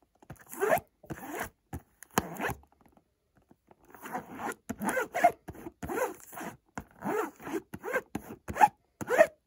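Fingertips scratch and rub across the front of a hollow white cardboard Montblanc perfume box (75 ml eau de toilette) held in the other hand. The result is a run of short, dry, raspy zipper-like strokes in quick bursts, with a brief quiet pause partway through.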